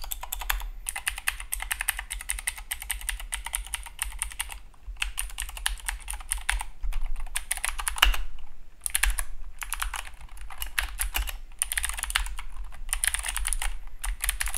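A compact Keychron K2 (V2) mechanical keyboard with blue clicky switches and plastic keycaps sits on a desk mat and is typed on with the fingertips of both hands. Bursts of sharp, bright, clicky keystrokes come in rapid runs, with brief pauses between them. A steady low hum runs underneath throughout.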